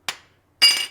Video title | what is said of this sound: STIHL BR 600 / 700 LEAKING ENGINE PAN REPAIR / DIY | it'll have a nice little ring to it and that's a good quick way to check these for cracks